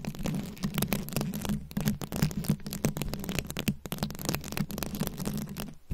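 Long nails scratch and tap on the rhinestone-studded head of a rhinestone-covered microphone. The result is a dense run of quick, crackly scratches and clicks over a steady low hum near 150 Hz, with brief bright ticks standing out.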